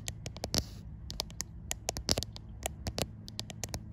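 Fingertips and long white nails tap and scratch the glass back panel of a white iPhone. A quick, irregular run of sharp, bright clicks and short scrapes sounds over a low, steady hum. Each tap dies away almost instantly.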